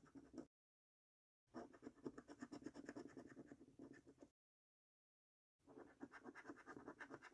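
A coin scratches the latex circles on a £25 "5x £1 Million Prize Portal" National Lottery paper scratch card with a latex coating. Three bursts of quick, rasping strokes are separated by two fully silent gaps, with a mid-range scraping texture and some high grit.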